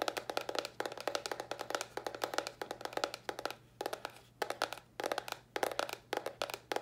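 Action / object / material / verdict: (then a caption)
tap / small cardboard box / cardboard / none. Long nails tap rapidly on a small, hollow white cardboard box held upright. The taps come in quick bursts separated by brief pauses, each a dry, hollow knock with a bright clicky edge and almost no ring.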